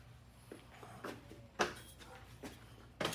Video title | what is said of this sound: 08-10-25 - Amal Carb Cleaning Snippets | Get this other one. Can you hear that? That's the float flopping up and down. That tells you that your float is free and not stuck.